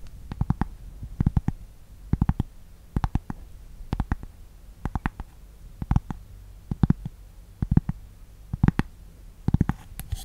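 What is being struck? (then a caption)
Thin cork board tapped with fingernails. Long nails tap and scratch a thin, solid, flat rectangular cork board held beside the mic. Short bursts of quick, dull taps recur about once a second, each tap dying away almost instantly with a soft scratchy edge. The sound is low and muffled, with almost no bright content.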